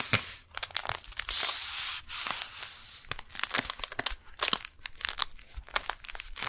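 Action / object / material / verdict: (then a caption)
tap / kraft paper package / paper / none. Long painted nails tap and scratch the front of a single brown kraft paper beeswax wrap package held upright. Sharp, bright clicks and crisp crinkling of the paper come through, with a sustained scratchy rasp partway through. The sound is dry and mostly high, with very little low end.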